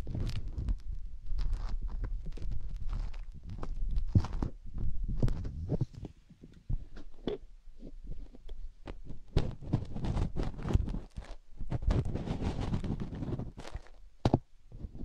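Fingers rub the silicone ear of a binaural microphone, then a fingertip digs into the ear canal. Close, muffled scraping and dense low thumping rustles dominate, with short bright crackles over the top. A quieter, sparser stretch in the middle gives way to busier digging toward the end.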